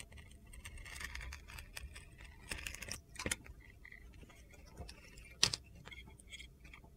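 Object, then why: Soap bar carved with a knife blade. A utility knife blade carves and scrapes white shavings off a solid blue glitter-coated soap bar with gold stars, held in the palm. Bright, gritty scraping and crisp crunchy cuts sound over a faint low rumble, with one sharp louder crunch near the end.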